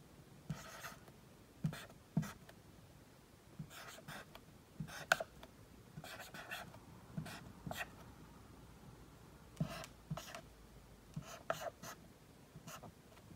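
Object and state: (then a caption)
Marker writing on a whiteboard. A dry-erase marker tip writes the letters Q through Z on a large, flat whiteboard, rubbing and scratching across the surface. Short, bright squeaky strokes come in bursts, separated by quiet pauses between letters, and the overall level stays soft.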